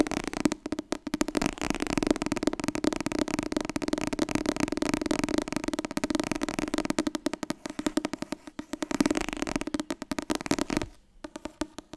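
Fast, continuous tapping on the softcover book "Het Wasbord dieet" makes a dense patter of dry, papery taps with a low-mid body and almost no ring. The taps come too quickly to separate, and they thin out to a few quieter taps near the end.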